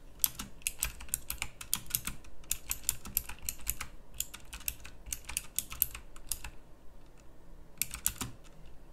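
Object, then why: Plastic mechanical keyboard with round keycaps. Fingertips of both hands type fast on a pink plastic mechanical typewriter-style keyboard with round plastic keycaps. A rapid stream of sharp, bright clicks rises over a low steady hum, with a short pause near the end before the clicking picks up again.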